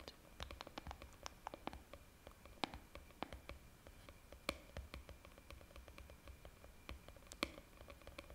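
Long painted fingernails tap and scratch the top of a green plastic screw lid on a white plastic jar held close to the mic. The result is a quiet, rapid series of sharp, dry clicks that stop instantly, with a faint scratchy hiss between them and a steady high tone underneath.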